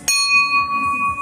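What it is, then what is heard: Cast transmission drum rings clearly, sound casting. A hanging, empty cast-metal Ford C4 transmission forward drum is struck once and rings like a bell, with clear high tones near 1.1 kHz and 2.5 kHz that sustain through the clip. The ring marks a good casting, unlike drums that give only a dull thud when hit.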